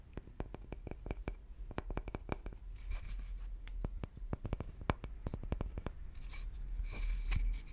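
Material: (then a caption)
Wood. Fingertips tap and scratch a round, solid cross-cut slice of tree wood with visible rings and bark. A quick series of short, dry, low taps mixes with soft, hissy scratching, which grows louder toward the end.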